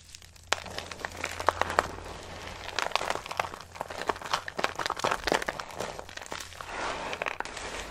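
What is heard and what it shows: Pale green dry soap shavings are pressed flat with the palm and crushed in a cupped hand, giving a dense run of dry, crisp crunches and crinkling crackles that keep going for about eight seconds. Sharp, bright snaps stand out over a steady soft low hum.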